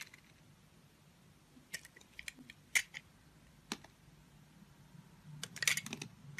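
A utility knife blade scrapes and shaves the surface of a solid, translucent orange soap disk shaped like a citrus slice, held in the palm. Short, crisp, bright scraping ticks come at irregular intervals over a quiet background. A denser, louder flurry of shaving sounds arrives near the end.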